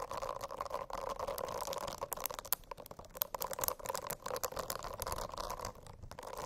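Long acrylic nails tap and scratch across a rainbow-striped silicone notebook cover covered in dense small bristles. The result is a steady, fuzzy rustling with a mid-range hum, broken by quick, bright clicks and crackles that come in rapid, uneven bursts.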